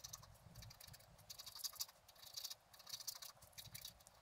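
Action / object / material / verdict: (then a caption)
scrape / black-coated scratch art paper scratched with a wooden stylus / coated paper / none. A wooden stylus scratches away the black coating of a flat black-coated scratch art card lying on a table. Quiet, bright, dry scratching comes in quick bursts of short strokes, with little low end and almost no ring after each stroke.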